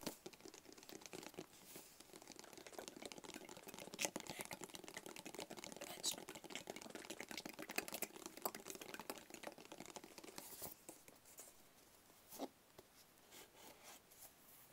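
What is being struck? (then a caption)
Small closed cardboard box. A small, closed, hollow black cardboard gift box is held in the hands and tapped rapidly with the fingertips. The result is a dense stream of quick, dry, hollow papery taps with a bright edge and almost no ring. After about eleven seconds the tapping turns softer and sparser.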